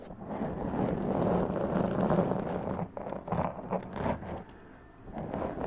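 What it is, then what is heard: Foam microphone windscreen being scratched. Long press-on nails scratch and rub a black foam windscreen on a large condenser mic, making a dense, muffled rustling scrape with little high end. The scratching runs steady and loud for about three seconds, breaks into choppier bursts, dips quieter near the five-second mark, then swells again at the end.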